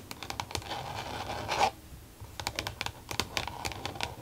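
Long nails rapidly tap and scratch a flat, glossy green plastic case with an elastic band closure lying on a desk. A dense, bright scratching builds to a louder swell, drops briefly quiet, then gives way to a quick run of sharp, crisp plastic taps with very short decay.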